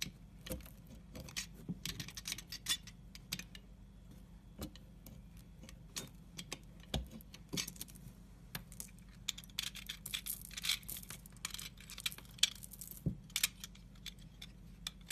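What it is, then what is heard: Bar of soap being scored and shaved. A grid-scored solid dark brown soap bar is scored with a pointed tool, then a blade shaves across its cubes. The result is a dense run of quiet, crisp, bright scraping and crackling ticks that stop dead, over a faint steady low hum.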